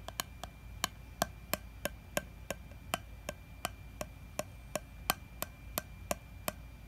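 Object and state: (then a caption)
Metal jar lid tapped. A fingertip and nail tap the flat top of a gold metal screw lid with a honeycomb print on a glass honey jar. There are about 21 short, dry taps at a steady pace, each with a faint hollow tone near 680 Hz and a bright click that dies away almost at once. A quiet low hum sits underneath.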